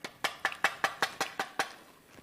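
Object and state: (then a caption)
Dry, airy puffed rice cake. A puffed rice cake, served as a hospital-food dessert, gives off nine quick, dry, hollow clicks in an even rhythm. Each is a short, papery tap that dies away almost at once. The cake sounds dry and airy, like cardboard.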